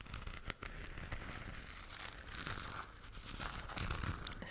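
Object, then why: Hollow plastic lamp sphere. A hollow plastic galaxy moon lamp sphere, lit purple and held in both hands, is scratched and tapped with long teal nails, then lowered near the microphone at the end. Dense, crackly scratching runs throughout with short tapping clicks and a low, close-mic rumble, growing slightly louder toward the end.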